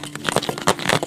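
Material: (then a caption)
Plastic. A giant plastic surprise egg container is shaken, and a Kinder Joy egg inside rattles against its walls. The result is a quick run of light, dry knocks and rattles over about a second.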